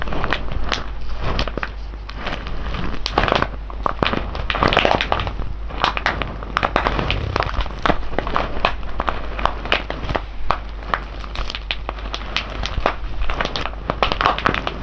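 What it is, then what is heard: Foil coffee bag full of whole beans. A full, sealed silver foil coffee bag of whole beans is turned and squeezed between both hands. The foil crinkles and crackles steadily while the beans shift and rattle inside, with dense, sharp bursts of crunching throughout.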